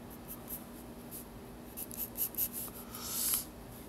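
A pencil scratches lines across the lower part of a drawing on a white paper page of a spiral sketchbook resting on a desk. Short, bright, dry scratching strokes come in quick bursts, ending in a longer, louder stroke, all over a faint steady low hum.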